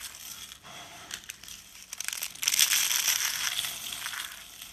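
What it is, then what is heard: Dry, brittle soap curls being crushed. Blue and green rolled dry-soap curls and flakes, solid and brittle, are squeezed and crushed in the hand, then the flakes are scooped up in both hands. The result is a dry, bright crunching and crackling with almost no low end, growing louder and denser partway through.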